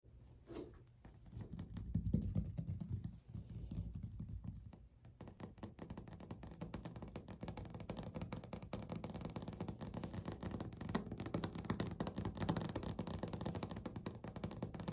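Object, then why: Laminate countertop tapped with fingernails. Natural medium-length fingernails of both hands tap rapidly across a flat, solid, speckled beige laminate desk or countertop surface. The taps run together into a quiet, continuous patter that is dull and low-heavy with a faint scratchy edge, each tap dying out almost at once.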